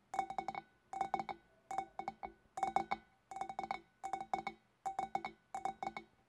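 Long black nails tap with both hands on the shoulders of a large, hollow, empty clear glass fish bowl, in eight quick bursts of three to four taps each, about thirty in all. Each tap gives a bright glassy clink with a clear ringing tone near 780 Hz that dies away within a fraction of a second.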